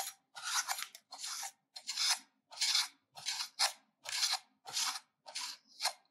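A solid pink bar of soap, held in the left hand, is grated with a metal hand grater held in the right hand. A series of dry, bright scraping strokes, each a rasping burst of short duration, is separated by brief silences and follows an uneven rhythm.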